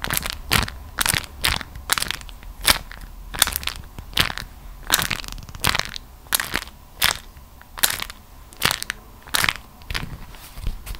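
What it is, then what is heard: Beeswax-coated cotton food wrap being crushed. A folded beeswax-coated cotton food wrap is held close up and squeezed and crushed between the fingers and long nails. It gives strong, bright crackling in repeated short bursts, each snapping off quickly, with quieter rustling in between.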